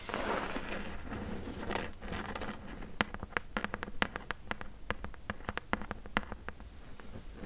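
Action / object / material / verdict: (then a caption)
tap / corrugated cardboard box tapped with nails / cardboard / none. Long nails scratch across the top and top edge of a closed, hollow corrugated cardboard box, making a soft rough rustle. They then switch to a quick series of sharp, dry taps on the box that die away almost instantly over a faint low hum.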